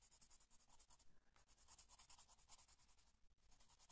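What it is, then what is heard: Colored pencil shading on paper. A blue colored pencil rubs and scratches across a flat paper coloring book page in short shading strokes in one corner. The result is a quiet, rapid, steady series of dry, bright, scratchy strokes with a faint low rumble underneath.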